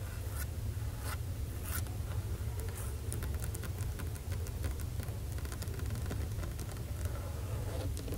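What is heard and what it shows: Long acrylic nails tap and lightly scratch across a large, solid, flat dark glossy laminate library desk top, first with one hand, then with both hands clawed and tapping the nail tips. Faint, short clicks and soft scratchy strokes sit over a steady low rumble throughout.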